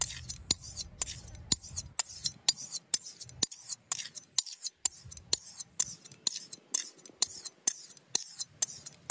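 A steel straight razor blade is scraped back and forth across a flat, dark grey, palm-sized solid sharpening stone held in an open hand, honing it outdoors. Quick, bright scraping strokes repeat at a steady, slightly uneven pace, each a short, sharp rasp with no ring, with little low-end weight.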